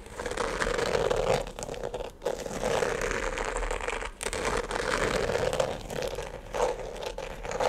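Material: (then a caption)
Glitter fabric. Fingernails scratch and rub the glittery upper and laces of a single empty glitter sneaker with a rubber platform sole, held in one hand. The result is a steady, dense, crinkly scratching centered in the mid range around 550 Hz, with brief pauses near 2.2 and 4.1 seconds.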